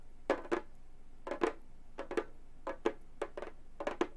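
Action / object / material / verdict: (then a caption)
tap / frame drum with synthetic head, tapped with metal finger claws / synthetic drumhead / none. Long gold metal finger claws tap and scratch a hollow, round Remo frame drum with a synthetic head. Twelve short, dry taps land in quick pairs, each a soft hollow knock around 450 Hz with a little bright edge, dying away almost at once.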